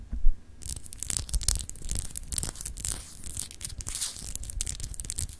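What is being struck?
Solid glass globe paperweight.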